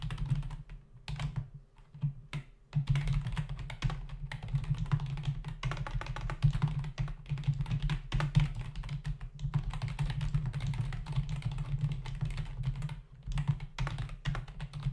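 A black plastic membrane desktop keyboard with hollow key caps is typed on rapidly with the fingertips of both hands. Dense, quick plastic taps and clacks run almost continuously over a steady low hum, with a few brief pauses between bursts of typing.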